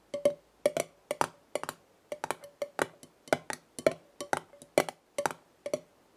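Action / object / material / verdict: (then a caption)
tap / metal screw lid on a glass jar / metal / none. Long red nails tap the top of a black metal screw lid on a glass jar full of dried leaves. The taps come in quick pairs and small clusters, each a crisp, dry click with a short, faint metallic ring around 640 Hz and a little bright edge.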